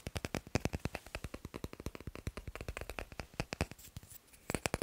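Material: Wood.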